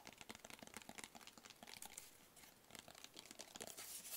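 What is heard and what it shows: Fingertips tap rapidly on the sides of a small, hollow, closed black rigid cardboard gift box held in the hands. The taps are dry, light and papery, with a bright crinkly edge, very little low end and almost no ring, and they grow denser and louder toward the end.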